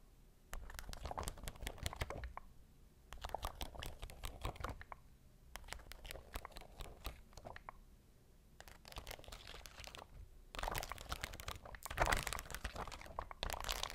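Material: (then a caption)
Glass rhinestones. Long nails scratch and tap across a sheet of shiny rhinestones, making a crunchy, crinkly sound with dense, rapid bright clicks. The bursts come in clusters separated by short pauses, and the last few seconds are busier and louder.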